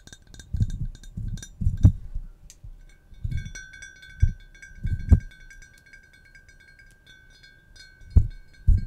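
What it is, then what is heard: Cut glass pitcher, tapped. Long nails tap and scratch a large, empty, hollow clear cut-glass pitcher with a handle. Soft, dull knocks are interspersed with bright, glassy clinks, and a high ringing tone lingers between the taps.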